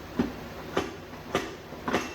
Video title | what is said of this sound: Building the TH350 Transmission for the 1950 Mercury Rat Truck | once you got it in all the way, you can tell because it sounds solid instead of very light